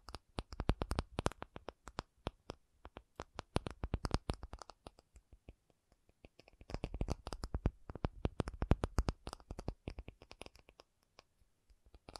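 An acrylic object is tapped with quick, dry fingertip-like taps in dense bursts, with a short pause around the middle before a second flurry that thins out toward the end. Each tap is very short with almost no ring, carrying a soft low thump under a light, clicky top.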